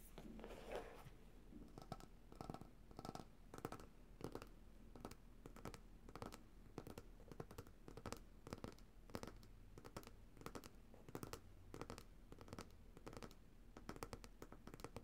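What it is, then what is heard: Glass jar bottom tapped with nails. Long nails tap and scratch the bottom of a glass coconut oil jar, turned bottom-up, with white solid oil inside. Quiet, quick, dry taps repeat steadily over a soft scratchy texture and a low rumbling background. Each tap dies away almost at once.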